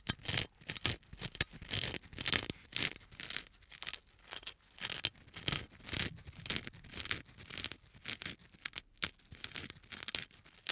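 Fingertips in a black rubber glove scratch and rub the textured surface of a small, flat, triangular gold-coloured metal piece: a thin solid sheet with rows of raised perforated holes, held in one hand. The sound is a fast, uneven series of dry, bright scratching bursts, about two per second, each dying away almost instantly with little low end.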